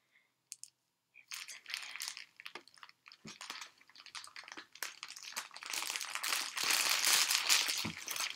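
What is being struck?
Thin plastic bag.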